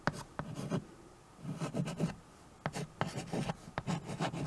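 White chalk held in the fingers writes across a small handheld chalkboard with a wooden frame, making dry, scratchy strokes with sharp taps where the chalk meets the board. The strokes come in short bursts separated by brief quiet pauses, with a soft, low-weighted body and little ring.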